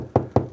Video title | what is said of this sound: Do you chase walls out like this? | you can hear that's very hollow. Very good indication that that's plasterboard on some kind of wood timber framing